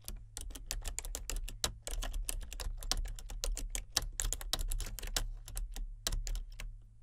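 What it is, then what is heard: Plastic computer keyboard being typed on. Both hands with painted nails type with their fingertips on a full-size plastic computer keyboard with color-changing backlit keys. A steady stream of quick, bright plastic key clicks runs throughout, each dying away almost instantly, over a constant low hum.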